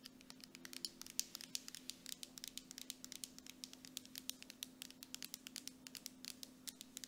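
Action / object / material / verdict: tap / plastic cosmetic jar with metal screw lid / plastic / none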